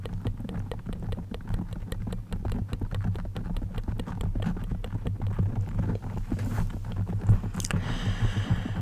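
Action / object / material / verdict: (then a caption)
scrape / foam microphone windscreen / foam / none. Long acrylic nails on both hands scratch a soft, hollow-backed black foam microphone cover. The sound is a dense, continuous run of rapid, muffled scratches with a deep, rumbling low-end hum. A brief bright hiss rises near the end.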